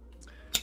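A Le Grand Perfect Ping metal lighter lid is flicked open, giving a single short, dull click with a quick high-pitched snap and almost no ring. The ping is faulty and needs fixing by hammering out the cap pin to adjust the mechanism.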